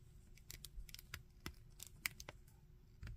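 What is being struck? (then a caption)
Hard plastic action figure. Fingertips and nails tap and scratch the legs and arms of a red, glossy, hard plastic zombie Iron Man action figure about 15 cm tall, and pose its joints. Quiet, crisp clicks and brief bright scratches come in irregular bursts over a soft low rumble, with a sharper tick near the two-second mark and a fuller rustle at the end.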